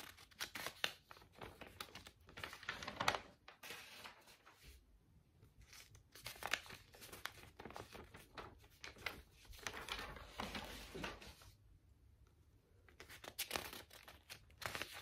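Long nails lift, bend and turn the page edges of a thick lined-paper spiral notebook, crinkling the paper. Quiet, bright bursts of crinkling and rustling come in clusters, with near-silent pauses around four to six seconds and again near twelve seconds.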